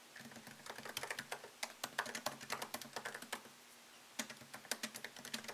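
Fingertips tap the low-profile plastic keys of a MacBook Pro keyboard set in a thin solid aluminum chassis, producing a quick run of short, bright clicks with almost no low end and a very fast decay. The typing stops briefly in a quiet gap just before the fourth second, then resumes at the same brisk pace over a faint steady low hum.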